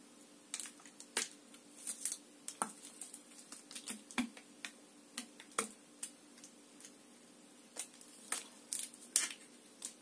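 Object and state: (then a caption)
Empty plastic water bottle. A clear, crinkled, hollow and empty plastic water bottle with an orange cap is held close while long nails and fingers scratch and squeeze it. About two dozen sharp, bright crackles and clicks sound at uneven intervals, each dying away almost at once. A faint, steady low hum runs beneath them.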